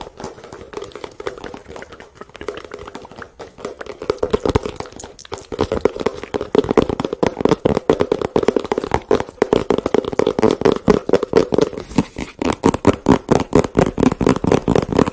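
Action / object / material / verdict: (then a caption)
tap / cardboard box / cardboard / none. A hollow white and blue printed cardboard product box is tapped with fingertips and nails on its flat sides close to the microphone. The result is a fast, uneven stream of short, dry taps with a hollow midrange tone around 450 Hz. The tapping grows louder and denser after the first few seconds.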